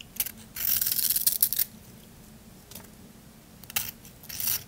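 A solid white bar soap with a pink glitter strip is held in the hand while a small blade scrapes off the glitter and shaves its edges. The sound is bright, dry, crunchy scraping in bursts, with a long rasping stretch early on, then a brief scrape and two more near the end, over a faint low hum.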